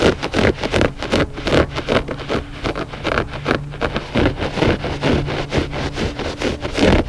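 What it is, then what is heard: Looped carpet rug. Short fingernails of both hands scratch quickly across the pile of a flat, gray, loop-pile textile rug that is solid and soft. The result is a rapid, uneven run of dry, raspy scrapes, each cut off short, over a faint steady low hum.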